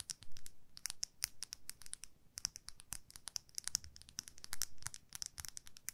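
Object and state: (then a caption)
Makeup brush handle scratched and tapped with fingernails. Long manicured nails scratch and tap along the white plastic handle of a makeup brush with a dark metal ferrule, held in both hands. Rapid, quiet, dry clicks and scratchy ticks come in uneven bursts, each sharp and bright with almost no ring.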